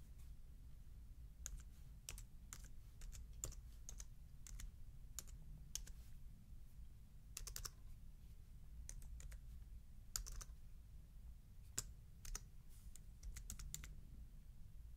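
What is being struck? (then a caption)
Plastic computer keyboard. Fingertips type on a slim black plastic computer keyboard, pressing keys in irregular bursts of short, crisp clicks that stop almost instantly. A steady low hum sits underneath throughout.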